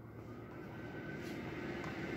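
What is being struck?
Nothing is struck.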